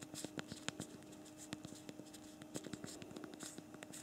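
Thumbs type on the physical plastic QWERTY keyboard of a BlackBerry Priv smartphone, producing a quick, irregular run of short, dry key clicks with bright edges and almost no ring. A faint steady low tone hums underneath the quiet tapping.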